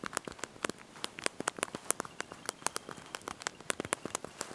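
Thumbs and fingertips press and tap the small backlit plastic keys of a handheld slide-out QWERTY mobile phone keyboard while typing a message. Quick, dry, bright clicks follow one another in an irregular stream, each cutting off almost at once over a faint hiss, with very little low end.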